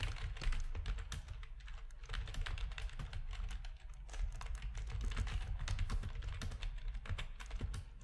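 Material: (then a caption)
Plastic. Fingertips of both hands type steadily on a full-size black plastic RGB-backlit computer keyboard with a hollow plastic housing, resting on a desk. Rapid, dense key clicks and taps come in an almost continuous stream over a deep, low thump from the housing, with short bright clacks on top.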